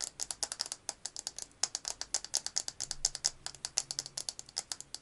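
A small square glass perfume bottle with a metal cap, partly filled with liquid, is held in both hands and rapidly tapped and scratched with fingertips and nails. The result is a fast, uneven stream of sharp, bright clicks and ticks that die away almost instantly, with little low end and a faint low hum through the middle.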